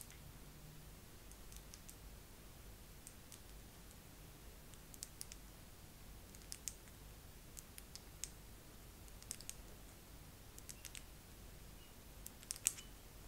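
Long nails tap slowly on a face massager, producing soft, sparse, bright clicks that stop short with almost no ring. The taps sit irregularly over a faint steady low background hiss, growing slightly sharper and more frequent toward the end.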